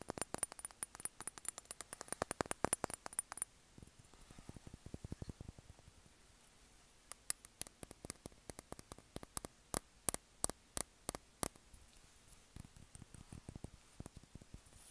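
Fingertips and short nails tap and scratch the glass sides of a small dark glass perfume bottle with a black cap and label, held in one hand. A quick run of dense, crisp tapping gives way to softer, low scratching and a near-silent pause, then sharp, bright, well-spaced clicks ring out. The clip ends with gentle, muffled taps.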